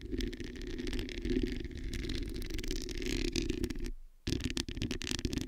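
Long nails scratch across the hollow metal mesh grille of a black microphone, producing a dense, rasping scrape with a heavy low rumble and a steady tone around 285 Hz. The scratching breaks off for a brief silence near the four-second mark, then resumes in quicker, choppier strokes.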